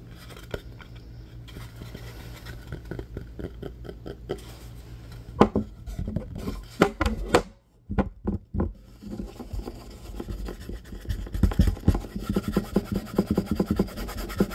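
A flat, solid wooden cutting board is lifted and then laid down on a table, then scratched and tapped with fingertips and nails. Soft scraping and scratching run over a steady low hum, broken by sharp, short knocks in the middle of the clip before the dense scratching resumes.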